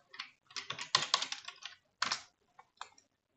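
Fingertips with medium-length manicured nails type on and tap the low-profile keys of a full-size black plastic computer keyboard lying on a wooden desk. The result is a run of quick, dry, bright clicks in irregular bursts, each one short with almost no low end, and brief pauses between the bursts.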